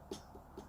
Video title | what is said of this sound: How to make the perfect hookah. +Pro Tips! | I tap it it's really solid doesn't have any hollow sound